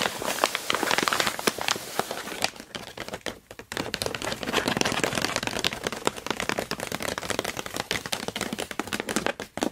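Long nails tap and scratch across a crumpled sheet of brown kraft packing paper lying flat. Dense, bright crackles and sharp taps come in quick, short bursts, with a brief quieter stretch near the middle before the rustling picks up again.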